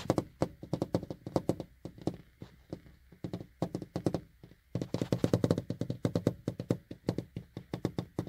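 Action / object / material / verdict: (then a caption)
tap / car side window glass / glass / none. Fingertips and short painted nails tap on the large flat glass side window of a car from inside. The rapid, uneven run of short, dull taps has a low knocking body and a bright click on top, each dying away almost at once. There is a brief lull just before the middle, then a denser, faster flurry.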